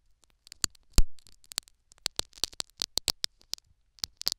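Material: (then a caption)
Foam, silicone. A metal syringe needle repeatedly scratches and pokes a foam plug set in a silicone dummy ear microphone, making about sixteen short, sharp, bright crackling taps with dry rustling between them. One heavier thump with a low rumble lands near the one-second mark. Each tap dies away almost instantly, leaving a close, crisp patter.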